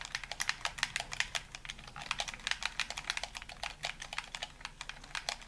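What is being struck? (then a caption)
Plastic game controller. A hollow white plastic handheld gamepad, held in both hands in a dim room, has its buttons and sticks rapidly pressed and tapped by fingertips and thumbs. The result is a fast, steady stream of many short, bright plastic clicks with almost no low end.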